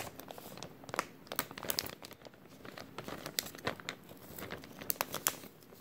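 An empty, thin clear plastic bag with a white label is crinkled and rubbed with fingertips, giving a steady stream of quiet, bright crackles and rustling. Sharper, louder crinkle spikes stand out against the soft, continuous rustle, with little low end.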